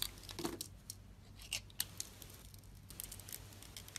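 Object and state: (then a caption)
Soap bar cut with a blade. A snap-off metal utility blade scrapes and cuts into a solid peach-colored soap bar with a dark blue glittery outer coat, held in the hand, slicing pieces off it. Crisp, bright scraping and crunching strokes come in short bursts, with a few sharper snaps, over a faint low hum.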